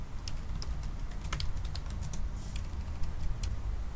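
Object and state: Laptop keyboard being typed on.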